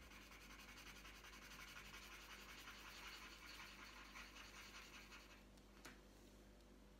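The tip of a green wooden coloured pencil rubs back and forth across a thin, flat, printed paper colouring sheet lying on a tabletop. It makes a continuous, bright, scratchy shading sound in quick, fairly steady strokes over a faint low hum. Near the end the strokes ease off and a single sharper tick stands out.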